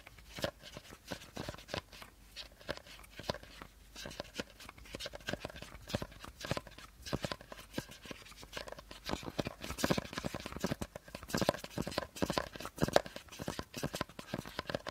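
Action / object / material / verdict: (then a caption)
tap / plastic bottle cap / plastic / none. Short fingernails rapidly tap and scratch the teal plastic cap of an empty plastic bottle. The result is a dense, quiet stream of dry, clicky taps and scratchy rustling with a hollow plastic tone, growing slightly louder and busier toward the end.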